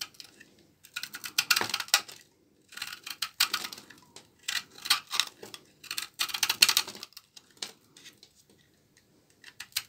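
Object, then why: Laundry soap bar. A small blade scrapes and cuts shavings from a solid, dark brown bar of dry laundry soap held in the hand. Bursts of bright, crisp scraping and crackling come in four or five clusters separated by short pauses.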